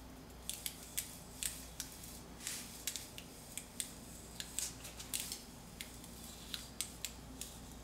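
A metal putty scraper with a blue-black handle, held in a hand with long dark nails, pushes under a thick layer of paint on a solid concrete wall and peels it off in a strip. About twenty short, bright, crackling scrapes and snaps sound over a quiet low hum as the paint lifts away.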